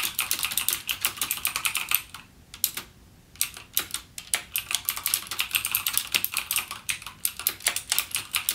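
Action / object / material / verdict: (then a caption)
tap / plastic mechanical keyboard / plastic / none. Fingertips type steadily on a backlit mechanical gaming keyboard with plastic keycaps and clicky Cherry MX Blue switches. The result is a rapid stream of sharp, bright clicks with almost no low end and very short decay, broken by a brief pause about two seconds in before the typing resumes.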